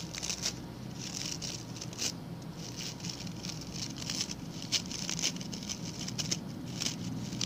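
Fingertips and nails scratch the stiff brown bristles of a small, round, ring-shaped coir (coconut fiber) brush held by its pink handle. It makes a steady, bright, scratchy patter with sharper crackling bursts scattered throughout, over a faint low rumble.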